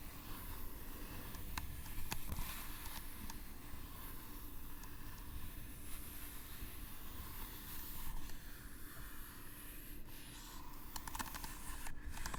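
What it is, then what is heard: Leather-wrapped book cover. The leather-wrapped cover of a first hand-bound book is tapped and scratched, giving soft, dull, low-pitched taps mixed with a steady rustling scratch. A few sharper clicks stand out near the start and end.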